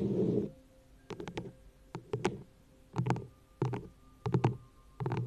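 A frosted green plastic cup, hollow and empty, sits upside down over the microphone while long nails tap and scratch its sides. A brief rubbing scratch opens, then short clusters of dull, hollow, low taps follow with quiet gaps between them. Each tap dies away almost at once, with little brightness in the sound.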